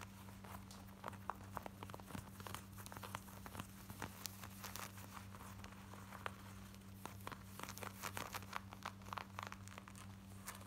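Long nails scratch fast, close up, on the front and hip of worn black denim jeans, producing dense, quiet, crackly rasping with sharp bright ticks. A steady low hum sits underneath throughout.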